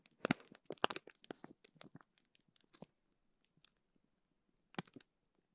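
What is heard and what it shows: A small clear plastic zip bag filled with teal gel beads is held in both hands while the fingers squeeze and crinkle it. Sharp, bright crinkling bursts come in a dense run for the first few seconds, thin out to faint scattered ticks, then return in a short cluster near the end.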